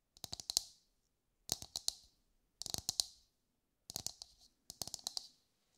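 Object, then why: Whole husked coconut. A brown, husked whole coconut with a hard fibrous shell is held in both hands and tapped with long light-grey nails. Five quick bursts of sharp, dry clicking taps sound bright and high, with almost no low end and no ring after each tap.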